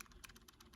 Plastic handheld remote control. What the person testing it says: There's a little bit of rattle to it when you shake it, but not much.